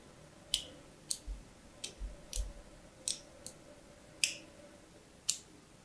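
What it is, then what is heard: Soap bar being scratched. A thin pointed tool scratches parallel lines into the surface of a hand-held, cream-colored solid soap bar. Eight short, crisp, bright scratches arrive at uneven intervals, each cutting off quickly over a faint, quiet background hiss.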